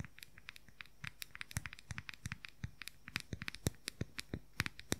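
Fingernails rapidly tap and scratch the lid and sides of a round, pastel, palm-sized hollow plastic makeup powder compact. A fast, uneven run of about thirty dry, sharp clicks comes through at a quiet level, each dying out at once with no ring. Faint scratchy crackling runs between the taps.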